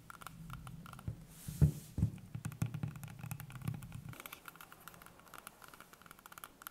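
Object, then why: Whole green apple. A whole, solid green apple held in the hands is tapped and scratched with long painted fingernails. Soft, dull taps land over a low, steady hum, and a few sharper knocks stand out near the start. The hum drops away partway through, leaving quiet, bright, crackling scratches.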